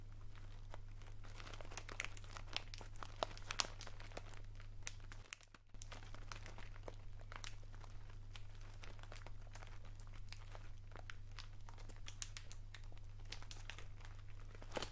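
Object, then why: Small plastic sweets bag. A small, colourful plastic sweets bag (Rainbow Drops) is held in one hand beside the mic and squeezed and crinkled with the fingers. Irregular, bright crackles and crinkles ride over a steady low hum, broken by a brief near-silent gap around five seconds.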